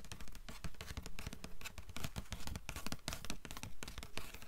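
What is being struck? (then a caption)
Paper endpaper inside a hardcover book cover. Long nails tap quickly on the blue paper endpaper inside the cover of an open hardcover book. A fast, fairly steady run of soft, dull taps with brief bright clicking edges, each dying away almost at once.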